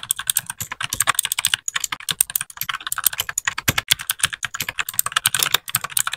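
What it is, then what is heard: Plastic mechanical keyboard. A small white 60% mechanical keyboard with plastic keycaps is typed on continuously with the fingertips of both hands. The result is a rapid, steady stream of bright, clacky keypresses with very short decay and almost no low end.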